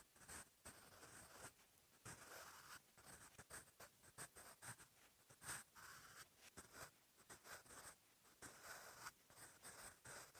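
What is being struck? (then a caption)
Graphite pencil on paper notebook page. A sharpened wooden graphite pencil, held in the fingers, writes on a lined page of an open paper notebook. Continuous strokes produce a quiet, bright, scratchy hiss in rapid, uneven bursts, with short pauses as the pencil lifts between words.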